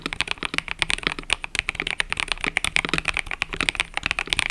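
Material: Plastic.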